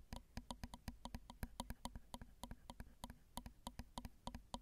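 Long acrylic nail tips tap the small, hollow, crossed metal X/Y microphone capsules on a Zoom recorder in an irregular run of about thirty crisp, short clicks. Each click is bright and dry with almost no ring, over a steady low hum.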